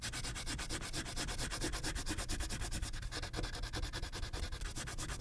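A pink wax crayon is rubbed in quick strokes across a thin white paper coloring page clipped to a clipboard. The result is a steady, rapid, rhythmic scratchy rubbing with a low papery rumble and a bright, hissy edge that pulses with each stroke.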